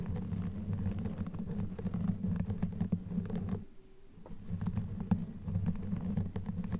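Long natural nails scratch across a black knitted fabric sleeve stretched over a microphone head, soft and hollow underneath, using both hands. The scratching makes a dense, low, rumbling rustle with quick crackly clicks throughout. It drops to near silence for about half a second before resuming.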